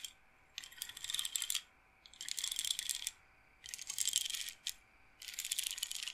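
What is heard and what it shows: Long nails and fingertips run over a hand-held solid-wood bead roller massager, a wooden frame with rows of wooden beads on rods, rolling and clacking the beads. Four bursts of dense, bright, rattling clicks come with short quiet gaps between them, plus one brief extra click after the third burst.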